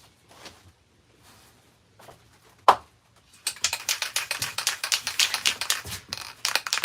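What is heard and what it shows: A metal aerosol spray paint can with a mixing bead inside is shaken before painting a vintage outboard motor. After a few faint taps and one sharp knock, a rapid, bright run of clicking rattles sets in as the bead knocks around inside the can. The bead rattles freely, showing it is loose and mixing the paint.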